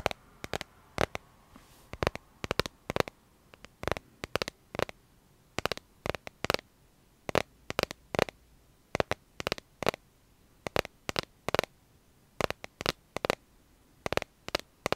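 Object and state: Smartphone in plastic case.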